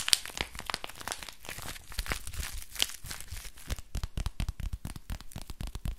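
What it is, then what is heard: Crinkly plastic book. A small, thin, flexible silver-grey plastic book or pouch, held in both hands, is scratched with the nails and squeezed. This produces rapid, dense crinkling and crackling with bright hiss. Toward the end it turns into a quick series of sharp, separate crunching taps.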